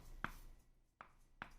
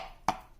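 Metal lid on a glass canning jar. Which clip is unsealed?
The first.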